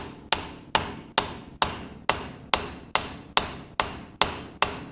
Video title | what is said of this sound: Using Bearing & Seal driver Set from Pittsburg - Harbor freight Review | it sounds solid, not hollow. And it sounds solid because I'm down at where the bearing race seat is